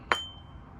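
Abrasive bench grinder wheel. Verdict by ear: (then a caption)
Sound. A single tap on a suspended abrasive bench grinder wheel, the second ring test after rotating it 90 degrees, made with a non-metallic object such as a screwdriver handle about 2 inches from the center. A sharp click is followed by a clear high ring near 3.1 kHz that fades within a fraction of a second. The ringing tone shows the wheel is sound, with no cracks or damage.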